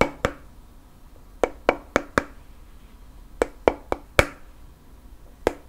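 Fingernails tap and scratch a round, flat bamboo lid resting on a black candle jar. Twelve short, dry taps land in irregular clusters with almost no ring, each a hollow woody click centered around the midrange.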